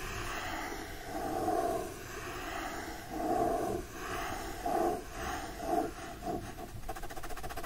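A fingertip and nail scratch and trace across the solid cardboard back cover of a teal hardcover copy of "The Secret Garden," wrapped in printed paper and held in one hand. Soft, dry scratching swells and fades in several raspy strokes, then ends in a rapid, finer scratching texture.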